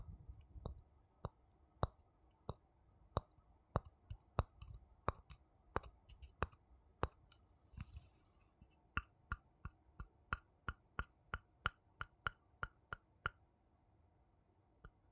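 A thin wooden stick taps and scratches the outside of a small, hollow, empty wooden bowl. About 34 short, dry, quiet taps are heard at a steady pace, with a brief bright scratching sound in the middle. A faint low rumble runs underneath.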